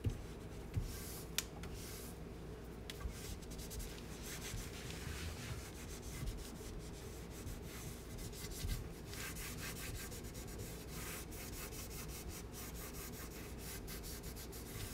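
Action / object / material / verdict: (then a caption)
scrape / painted wooden cabinet door / painted wood / none. A hand with a cloth wipes a dirty, large white-painted raised-panel kitchen cabinet door (wood or MDF) below a countertop, near a metal knob, rubbing in circular strokes to clean it with cleaning spray. Quiet, steady swishing and rubbing runs throughout over a low hum, with a few faint light knocks. The strokes come in brighter bursts of friction noise.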